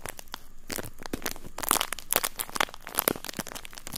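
A thin, clear, empty and flexible plastic bag is crinkled and rubbed between fingertips right in front of the microphone. Dense, irregular crinkles and sharp crackles run throughout, with bright, brittle bursts swelling louder toward the middle before settling back into a steady rustle.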